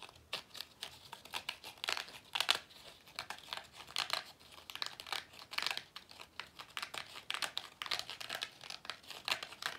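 A small, hollow pleated paper vacuum cleaner filter with a dark end cap is held in both hands while the fingers squeeze and rub it. This produces a steady stream of dry, bright crinkling and crackling with many quick, sharp bursts, and almost no low end.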